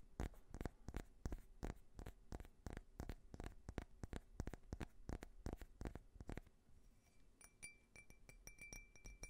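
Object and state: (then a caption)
Faceted glass tumbler, empty. Fingernails tap and scratch a small, clear, faceted drinking glass tumbler that is hollow and empty. A fast, uneven run of sharp, dry clicks with a thumpy low body fills most of the clip, then gives way to softer scratching with faint, thin, high ringing tones near the end.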